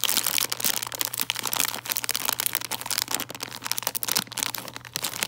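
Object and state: Crinkled plastic candy bag.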